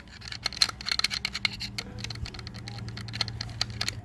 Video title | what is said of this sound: CRF250L CLUTCH BASKET. DIY PULLER IN 20 MINS | Rattling in the case.